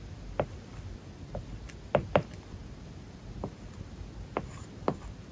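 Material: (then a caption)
Plastic film. A plastic stylus writes on an iPad whose glass screen is covered with a matte, paper-like plastic film. Short, dry taps and brief scratching strokes stand out separately over a low, soft background hiss. Each contact is a quick click that dies away almost instantly.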